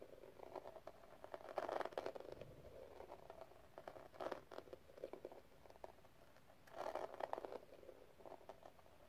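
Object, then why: Small metal cigarette case with gem inlays. Long nails tap and scratch a small, hollow metal cigarette case with pink gem tiles and a rhinestone edge, held in the hand. Quick, dry clicks and scratchy patter centre around 590 Hz, with no ring after each tap. Three louder bursts of rapid tapping stand out against quieter scratching in between.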